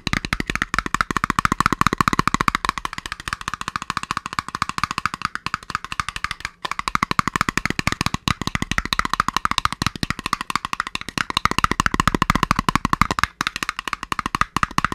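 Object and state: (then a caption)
Empty cardboard tub, hollow. An empty, hollow, round white printed cardboard ice cream tub, held open end out, is drummed with fingertips on its sides and bottom. About 125 quick, dry taps come in a steady, dense roll, each with a hollow knock centred near 1.2 kHz that dies away almost at once.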